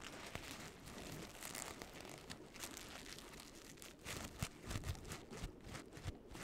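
An orange paper pumpkin with a painted face is squeezed and crinkled with fingers and nails. A quiet, continuous papery crinkle with bright rustling runs throughout, broken by short sharp crackles and soft low thumps that grow more frequent in the second half.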